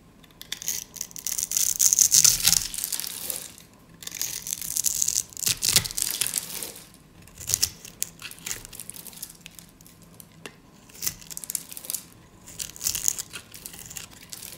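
A solid, hand-sized dry white soap bar held in one hand is scored and scraped with a utility knife blade, so small crunchy cubes flake off. The clip is a run of dry, bright crunching and scraping bursts with short pauses between them. It is almost entirely high-pitched, with very little low end.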